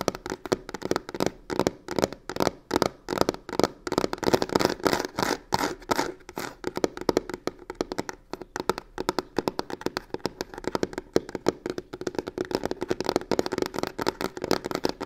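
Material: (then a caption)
Faux leather. Long nails rapidly tap and scratch the textured scales on the croc-embossed faux leather side of a hollow box. The result is a dense, continuous run of short, dry clicks and raspy scrapes with very little ring. The sound has a hollow midrange tone around 360 Hz and little deep bass or bright top.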